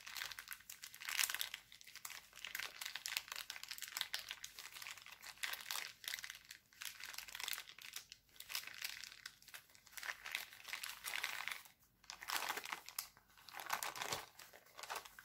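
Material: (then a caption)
Cellophane. Hands twist a thin, clear, empty cellophane bag printed with hearts, then stretch it out. The result is dense, bright crinkling in uneven bursts with almost no low end.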